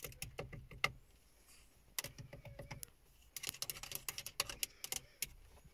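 Long fingernails tap a hollow, silver-grey plastic car stereo faceplate with small buttons. The result is quick, bright, dry clicks that stop almost instantly, coming in three bursts separated by short quiet pauses.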